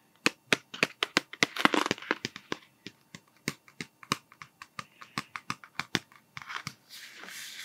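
A long, slim, hollow printed cardboard Smarties candy tube with a plastic cap is held in the hand and tapped with fingertips and nails along its length. About 31 short, dry, bright taps are heard with a hollow ring, broken by brief rustling scratches near the middle. It ends in a soft, airy scraping wash.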